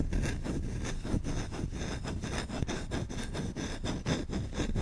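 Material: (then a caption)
Wood. A large, solid wooden spoon with a grained bowl is held close and scratched quickly with short fingertips and nails across the bowl. The result is a fast, steady, rhythmic rasping and scraping with a dense, low, rumbly body and a faint, dry, bright edge on each stroke.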